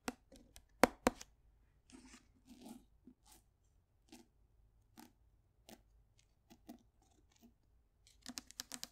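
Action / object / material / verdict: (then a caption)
tap / paperback book, paper and card / paper / none. Long nails tap on the cover and page edges of a closed paperback book. Soft, dry clicks come in scattered bursts with a few brief scratchy brushes between them, then finish with a quick flurry of bright taps.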